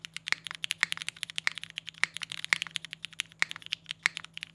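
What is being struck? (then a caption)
Mechanical keyboard with polycarbonate case and ABS keycaps. A compact mechanical keyboard with a polycarbonate case and ABS keycaps is typed on fast with the fingertips of both hands. A rapid run of short, dry clacks sits mostly in the bright upper range, with some louder strikes standing out from the rest. Around 32 keystrokes can be picked out, each dying away almost instantly.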